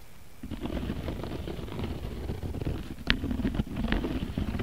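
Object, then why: Woven cotton rope bag. Fingertips and nails of both hands scratch and tap the woven face of a round, beige, coiled cotton rope bag lying flat. A dense, low, rumbling scratch builds after a quiet start, and three sharper, brighter taps stand out in the second half.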